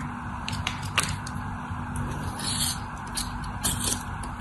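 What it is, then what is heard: Bar soap being scraped and cut. A craft knife blade, guided by fingers with long orange nails, scrapes and cuts into a hand-sized solid white bar soap held in the hand, its surface scored in a cross-hatch pattern. Crisp, crunchy scraping and bright crackles come over a steady low rumble as crunchy flakes break off.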